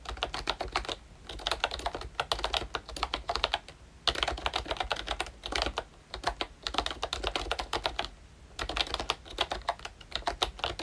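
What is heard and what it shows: Fingertips type continuously on a pink and brown plastic ROYCHE Disney Mickey Mouse retro membrane keyboard. Bursts of soft, bright key clacks are broken by brief pauses, each keystroke short and dry with almost no ring.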